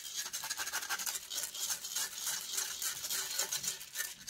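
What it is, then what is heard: Metal microphone mesh grille being scratched. Long acrylic nails scratch and rub quickly across the hollow metal mesh head of a microphone. The result is a continuous, irregular rasping, almost all of it bright and high, with almost no low end.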